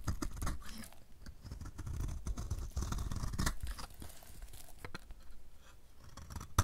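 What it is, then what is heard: Dry soap bar scraped with a blade. A solid oval blue-and-white marbled dry soap bar, held in the hand, is scraped with a utility knife blade, producing crunchy shavings. Dry, scratchy scraping strokes come one after another over a low, muffled rumble, with a sharp, bright scrape near the end.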